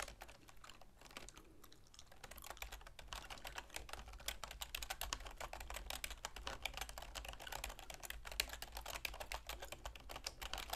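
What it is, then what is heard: Plastic computer keyboard. Long manicured fingernails and fingertips rapidly tap the keys of a full-size black plastic keyboard with a silver plastic frame resting on a wooden desk. The result is a dense, continuous stream of short, bright plastic clicks with quick decay over a steady low hum, sparser at the start and busier after the first two seconds.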